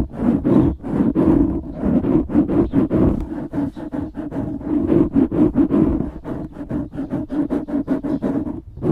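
Fingertips scratch the sides of a black foam windscreen on a microphone, producing dense, rapid rustling strokes with a strong low-mid body and bright scratchy edges. The strokes run continuously and unevenly throughout without pause.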